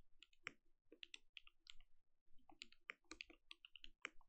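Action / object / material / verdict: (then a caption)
tap / mechanical keyboard with plastic keycaps / plastic / none. Fingertips press the plastic keycaps of a compact mechanical keyboard with a glowing case in a continuous, quiet run of typing. Each keystroke gives a crisp, bright click over a soft low thud, with a peak near 2.3 kHz, and dies away at once with no ring.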